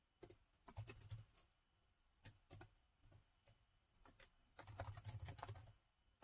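Fingertips of both hands type on the plastic keys of a gold metal laptop keyboard. Quick, bright clicks with a soft low thump come in uneven bursts. A dense flurry of taps near the end is followed by a final lone tap.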